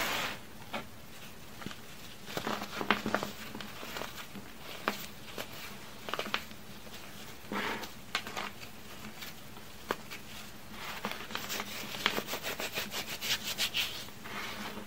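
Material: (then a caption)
Baking soda. Fingertips with long red nails pinch and crush crumbly, chalky chunks of baking soda and cornstarch into a pink and blue powder pile. Soft, dry crunches and crackling snaps come in uneven bursts over a quiet, steady low hum. Each crumble breaks off short and bright with almost no ring.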